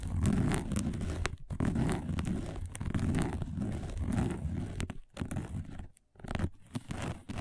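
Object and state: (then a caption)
Woven fiber placemat being scratched. Long acrylic-style nails on both hands scratch fast across a round, dark, thin, flat woven placemat of coiled braided fiber lying on a table. The result is a dense, rough, crinkly scraping with a heavy low rasp, running in quick continuous bursts broken by a few brief pauses before resuming.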